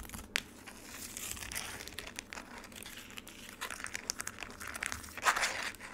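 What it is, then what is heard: Frozen lemonade in a plastic tray. Long nails tap and scratch the icy surface of a frozen lemonade slab and the edges of its black plastic tray. Many quick, bright crackling taps and crinkly scrapes sound close up, with a louder burst of scratching near the end.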